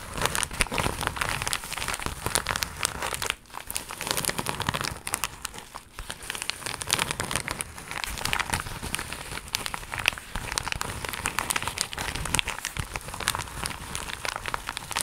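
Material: Plastic.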